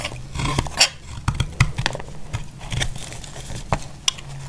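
A narrowing, solid, dry pink bar of soap is held in the hand and shaved with a utility knife blade. Short, dry scraping and crisp crunching cuts come in quick, irregular bursts, some with sharp bright clicks, over a faint low hum.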